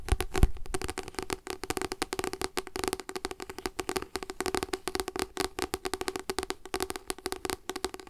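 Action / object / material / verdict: tap / paper book / paper / none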